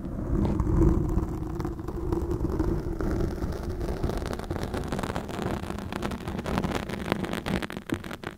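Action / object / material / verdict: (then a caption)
scrape / foam microphone windscreen scratched with metal forks / foam / none. Two steel forks scratch and dig into a soft, porous black dome-shaped foam microphone windscreen, their tines pressed into the foam. The result is a dense, low, rumbling scrape with muffled crackling and many quick, uneven scratches throughout.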